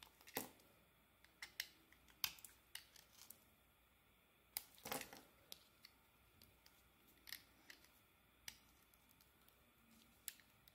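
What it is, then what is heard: Bar soap being carved. A solid oval soap bar with a marbled coating and a pale green core, held in the hand, is carved with a metal blade. The result is a quiet, irregular series of short, crisp scraping clicks, bright and dry with almost no low end and no ring. A few strokes stand out louder against a soft, steady background hiss.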